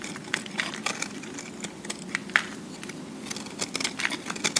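A metal cutter blade shaves and scrapes along the sides of a solid, hand-sized cube of pressed recycled soap held up close. Dry, crackly scrapes and sharp little ticks sound in an uneven run, bright and crisp, over a faint steady hiss. Each tick dies away almost at once.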